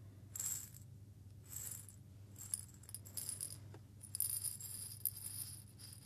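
A small clear glass jar is held up, tilted and shaken by hand, with fingertips on the glass, sending the small loose grains inside into bright, crisp rattling bursts. The quiet shakes come in several separate waves over a steady low hum.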